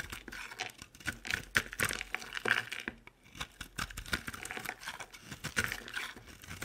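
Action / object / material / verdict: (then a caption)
scrape / bar of soap cut with a knife blade / soap / none. A utility knife blade carves and scrapes dry chunks off a solid, oval green soap bar with round holes, held in the palm. Crisp, crumbly scraping and bright crackling cuts come in quick bursts, with a short quiet pause near the middle.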